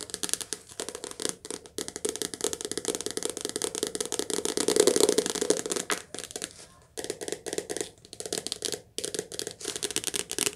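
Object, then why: Softcover paperback book with card cover. A softcover paperback book, held upright, has its glossy card cover tapped fast with long nails. The result is a dense stream of crisp, dry clicking taps with a papery midrange body and a bright edge, swelling louder around the middle and broken by brief pauses near the end.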